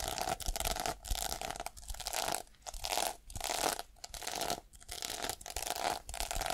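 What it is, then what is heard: Sequin fabric case being scratched. Long painted nails and fingertips scratch and brush back and forth across a small, flat, pink reversible sequin fabric case with a black edge, possibly a phone case or pouch, held in the hand, flipping its plastic sequins. The result is a run of bright, crinkly, tearing-like scratchy swishes in repeated bursts, with short gaps between strokes and a faint steady tone near 700 Hz underneath.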